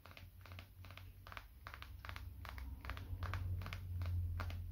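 Fingertips and short nails tap and scratch the glass screen and case of a small, dark, solid smartphone held in one hand, to help reduce stress. Quick, light, irregular clicky bursts repeat over a steady low hum that grows gradually louder.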